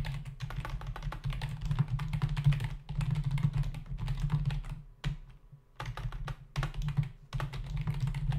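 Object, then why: Plastic membrane computer keyboard. A black plastic membrane computer keyboard with a hollow body and plastic keys sits on a desk while both hands tap the keys with their fingertips. Rapid bursts of dull, clicky keystrokes with a strong low hum-like body come in runs, broken by brief quiet pauses near the middle.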